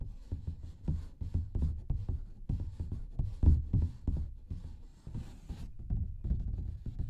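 A large printed paper coloring page, a thin sheet, is held up in front of the mic and tapped and scratched with fingertips. It gives a quick, irregular run of dull, low, muffled thumps with soft scratchy rustle between them, each tap dying away almost at once.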